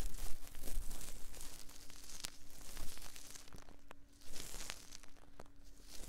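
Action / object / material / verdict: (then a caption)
scrape / soft silicone ear mold of a microphone / silicone / none. Cotton swabs held in both hands rub and scratch inside the ear canals of the soft silicone ear molds on a binaural 3Dio microphone. The result is close, dry scratching and crinkly rustling in uneven bursts over a faint steady low hum, with a brief quieter pause before the scraping picks up again.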